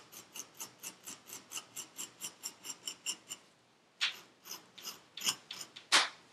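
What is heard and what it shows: A metal needle tool scratches across purple kinetic sand packed into a paper cup, making a steady, evenly spaced run of short, bright, gritty rasps. After a brief pause, a few louder, harsher scrapes follow at an uneven pace. The sound is mostly high-pitched, with almost no low end.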